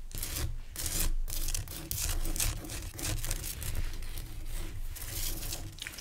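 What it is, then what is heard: Rock salt lamp. Fingertips and short-to-medium nails scratch and tap a large, pale whitish-clear rock salt lamp, a solid crystal chunk held close by. Bright, gritty rasping comes in quick overlapping bursts over a steady low rumble.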